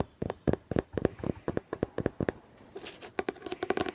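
Fingers tap on a hardcover book in a quick, uneven run of about twenty short, dry knocks, each with a hollow mid-low tone that dies away almost instantly. A brief, softer rustling stretch sits between the taps before they resume, closer together, near the end.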